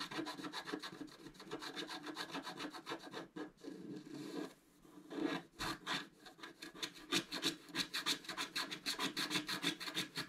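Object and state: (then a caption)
Scratch art card being scratched. A wooden stylus scratches the black coating away from the upper area of a flat, roughly A4 scratch art card lying on a table. Quick, rhythmic rasping strokes, about three per second, give a dry, bright scraping sound with a short lull around the middle before the steady scratching resumes.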